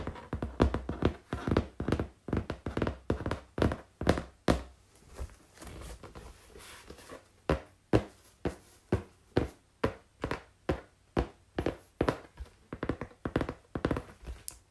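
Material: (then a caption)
Cardboard. Long pink-painted nails tap and scratch across the surface and top edge of a flat brown corrugated cardboard sheet. Quick, dull, low thuds fall in an uneven run, with a softer stretch of scratching in the middle before the tapping picks up again.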